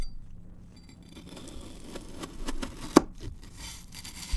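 A large steel chef's knife cuts thin zigzag slices from a solid, packed, multicolored kinetic sand block in brown, green, orange and yellow, chopping through the sand onto the table surface. Soft, gritty crunching and scraping repeat quietly throughout, broken by one sharp, short knock of the blade against the table.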